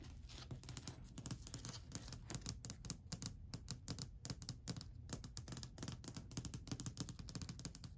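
Long white acrylic nails tap and lightly scratch a long, flat, solid varnished wooden shelf ledge. Quick, dry clicks with almost no ring come in rapid, uneven bursts over a soft, low scratching hiss. The sound stays quiet throughout.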